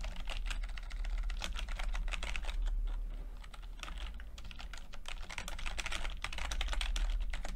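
Fingertips of both hands type continuously on a full-size plastic computer keyboard with red and blue backlit keys and low-profile keycaps. The result is a steady stream of quick, dry, bright clicks and taps at an uneven rhythm, over a constant low hum.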